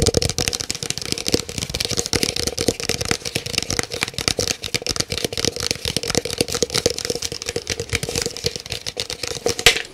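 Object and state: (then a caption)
Empty paper cup, hollow. An empty, hollow, large white paper cup is held sideways and tapped rapidly with fingernails on its side and base. The fast, continuous tapping makes a dense stream of sharp, dry clicks with a bright edge over a hollow papery tone around 470 Hz, each tap dying away almost instantly.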